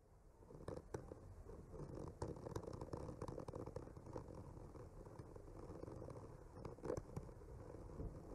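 The tip of a bamboo skewer slowly traces and scratches along the painted tree-trunk lines of a solid wood panel. The result is a quiet, steady, low-heavy scraping texture, broken by occasional brief, sharper ticks and scratches that add a faint bright edge.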